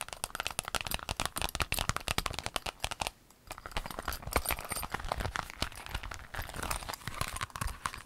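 An empty rainbow clear vinyl pencil case is tapped rapidly with long nails, making a dense run of sharp, bright clicks. After a brief pause near the three-second mark, hands fold and crinkle the vinyl, giving a steadier rustling crackle.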